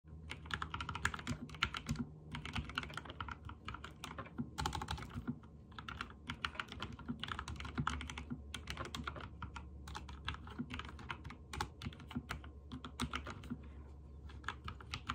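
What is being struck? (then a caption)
Mechanical keyboard with plastic keycaps. Fingertips of both hands, with short nails and a ring on the right hand, type rapidly on a backlit full-size mechanical keyboard with white and teal plastic keycaps and hollow key switches. A dense stream of short, bright clicks and clacks comes in bursts with brief pauses, over a steady low hum.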